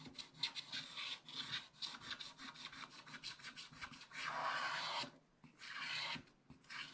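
A wooden stylus scrapes a wide area of the black coating on a scratch-art paper page in a spiral book, making quick, dry rasping strokes. The scratchy sound is bright and hissy with almost no low end. A fast run of short strokes gives way to two longer, steadier scrapes separated by brief quiet gaps.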